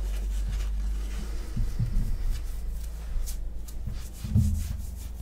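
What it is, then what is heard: Cotton shirt being scratched. Fingertips and nails of one or both hands scratch the chest and shoulder fabric of a grey printed long-sleeve cotton shirt worn on the body. A steady, dull, low rubbing and scratching continues throughout, with three louder bursts standing out.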